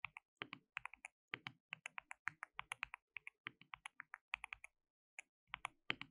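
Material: Plastic.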